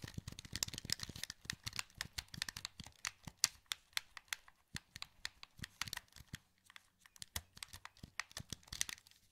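A wired, hollow black plastic PS2 controller is held in both hands while the thumbs click its face buttons and joysticks. Dense, quick, bright plastic clicks and taps follow one another with almost no ring, over a faint low hum.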